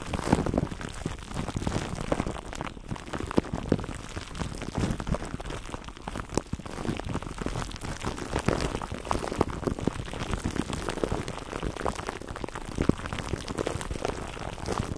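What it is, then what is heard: Plastic cling wrap crinkled over a foam mic cover. Fingertips of both hands rub and squeeze clear plastic cling wrap stretched over a black foam microphone windscreen, close to the mic. The result is a steady, dense stream of soft crinkling and crackling for the whole clip, weighted toward low, muffled tones with little brightness, and quick pops that die away almost instantly.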